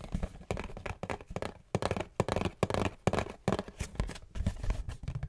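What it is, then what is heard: Cardboard tissue box. A cube-shaped Great Value Ultra Soft cardboard tissue box is scratched and tapped on its sides with long nails. Quick, dry bursts of scratching alternate with soft, hollow taps, carrying a low thump under a bright, papery rasp. Each sound stops almost at once, with no ring.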